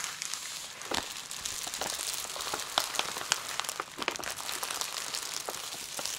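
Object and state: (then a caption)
Plastic bubble wrap. Long nails and fingertips tap and rub across clear plastic bubble wrap lying flat over a plush toy. The result is a steady stream of bright, crisp crinkles and sharp clicking taps, with almost no low end and quick, dry decays.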